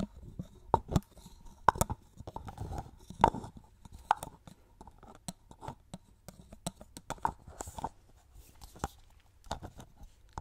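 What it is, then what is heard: Plastic cosmetic bottle tapped with nails. Fingertips and long nails tap and rub along a hollow, medium orange plastic cosmetic styling cream bottle with an orange cap. Quick, dry clicks with a hollow ring and soft scratchy rubbing between them are heard, the taps landing irregularly with brief, bright tips and almost no decay.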